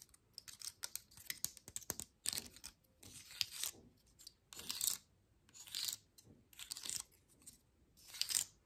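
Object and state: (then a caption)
Dry pine cone. Long nails flick, tap and scratch the scale tips of a dry, open pine cone with woody scales, held close to the camera. Quick, sharp, bright clicks come first, then longer, dry rasping scratches in separate bursts. The sound is crisp and high with almost no low end.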